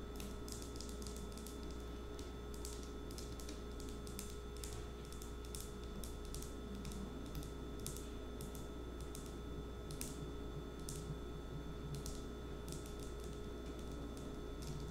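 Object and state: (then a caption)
Glass nail polish bottle. A small dark green glass nail polish bottle with a black cap is held sideways and tapped with long nails. Quick, light, bright clicks come in irregular runs over a steady low hum at a quiet, even level.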